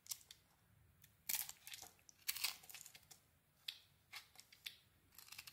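A solid dark-coated cream bar soap, held in the hand, is scraped with a small metal blade. The result is a series of quiet, irregular bursts of bright, crisp scraping and crinkling, with a few louder strokes in between.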